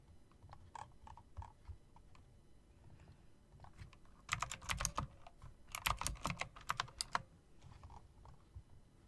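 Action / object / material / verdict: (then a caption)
tap / plastic and metal mechanical keyboard / plastic / none. Long dark nails slowly tap and click the round plastic keycaps, set in chrome rims, of an RGB plastic and metal typewriter-style mechanical keyboard. Soft, scattered clicks give way to two louder flurries of sharp, bright clacks over a low background hum, then the tapping trails off into quieter clicks.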